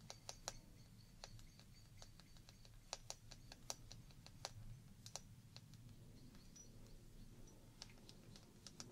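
A small, hollow glass shot glass partly filled with water is held up and rapidly tapped with long painted fingernails, producing about thirty quick, sharp, typing-like clicks. Each click is short and bright with a high glassy tone that dies away almost instantly, over a steady low background rumble.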